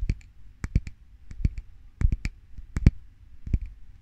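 A medium glass jar filled with a white solid, candle or cream, is held up in one hand and tapped and scratched on its side with the fingernails of the other hand. About fourteen short, sharp clicks come in loose, uneven clusters, each with a bright tick over a soft low thump. Faint scratching sits between the taps, and the clicks die away almost instantly.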